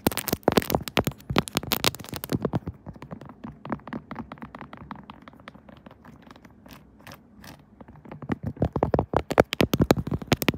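Long nails scratch and tap on a pink silicone Kirby phone case with raised buttons, fitted on a smartphone, with a hand covering the case near the end. Dense, rapid, dry clicks and scratchy taps come loud and bright at the start, thin into softer, quieter scraping through the middle, then build back to sharp, fast tapping at the end.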